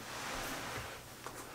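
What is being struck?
Nothing is struck.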